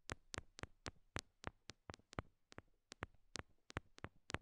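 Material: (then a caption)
Rhinestone. Long nails tap small solid pink rhinestone heart stickers stuck on a silicone binaural mic ear, giving 17 quick, dry clicks. Each tap is a short bright tick with a low thump underneath, heard over a quiet background.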